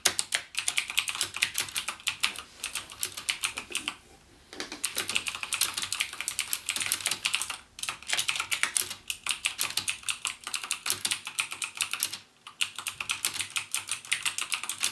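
Fingertips type rapidly on a backlit plastic mechanical gaming keyboard with clicky Cherry MX Blue switch keys. Dense streams of sharp, bright clicks with almost no low end are broken by brief pauses near 4, 7.7 and 12.3 seconds.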